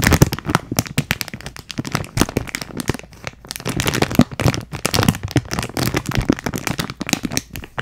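Long nails crinkle and tap a clear plastic packaging bag with a teal cardboard header, held in both hands close to the mic. A dense, steady run of sharp, dry crackles and quick taps follows, each snapping off almost instantly. The sound is bright and papery over a fuller low thump from the card.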